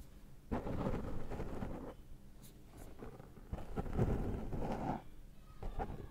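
Fingertips rub and scratch the black foam windscreen on a Zoom microphone while picking cat hair off it. Close, muffled low rumbling and scratchy rustling come in long bursts separated by quieter pauses, with almost no bright content.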